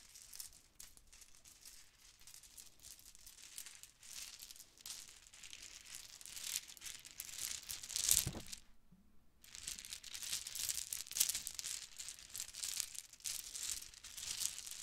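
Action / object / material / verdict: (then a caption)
shake / plastic bead necklaces / plastic / none. Gold and turquoise metallic plastic Mardi Gras bead necklaces are held up and handled while long nails run along and squeeze the small hollow beads. The result is a quiet, dense stream of bright, crinkly clacking and rattling, with a louder burst followed by a brief pause about halfway through before the clicking resumes.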